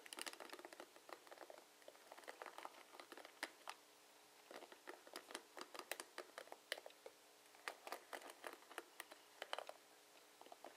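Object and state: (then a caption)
Plastic paddle hairbrush. Fingertips and nails strum along the plastic bristles of a blue plastic paddle hairbrush held sideways. The result is quick, dry, bright clicking and pattering in clustered bursts with short quiet gaps between them, and almost no low end.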